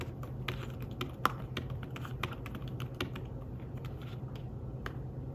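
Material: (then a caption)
Fabric. Fingertips tap steadily on a thin, flat, grey fabric-covered folio keyboard for a tablet. The keys make a quick run of soft, short clicks with brief bright edges, over a steady low hum. One tap near the middle stands out louder than the rest.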